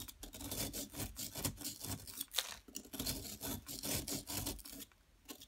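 A solid yellow plaster excavation block, held in place by long nails, is scraped with a metal pick. Quick, dry, rasping scrapes follow one another steadily, bright and gritty with a light low rumble under them. The strokes thin out into quieter scratches near the end.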